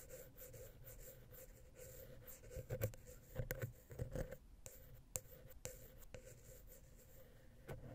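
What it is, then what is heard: Metal XY microphone capsule scratched. A wooden ear pick scratches between the heads of the small, hollow, silver metal X/Y microphone capsule on a Zoom H6. The result is a soft, close-up, low, rumbling scrape over a steady faint hum, with louder bursts of scratching in the middle and occasional sharp, bright ticks.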